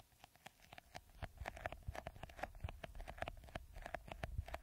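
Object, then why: Hollow plastic bottle with a beaded coating. Fingertips and nails rapidly scratch the green beaded coating on a clear, hollow, hand-sized plastic bottle. The result is a quiet, fast patter of short, dry scratching ticks with a low, hollow thump beneath them. A faint steady tone sits in the mid range throughout.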